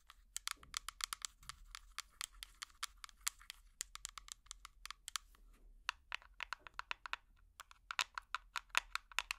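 A small, hollow, clear plastic tub with an orange screw lid, which appears empty, is tapped with metal finger picks worn on the nails. Dozens of quick, quiet, bright clicks come in uneven bursts, each dry and short with almost no ring.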